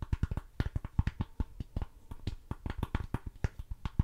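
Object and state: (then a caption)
Plastic game case tapped with nails. Long nails rapidly tap and scratch the back cover of a hollow, hard plastic DVD-style GTA San Andreas PlayStation 2 game case. About 25 quick, dry, low taps land in an uneven rhythm, each dying almost instantly, with faint scratchy brushing between them.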